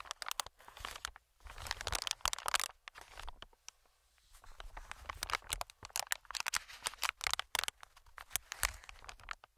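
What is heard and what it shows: Fingertips tap, scratch and squeeze an inflated, medium-sized green plastic-film air cushion. Bursts of bright, crinkly crackling and sharp tapping come in clusters, separated by brief quiet gaps. The sound is dry, with almost no ring.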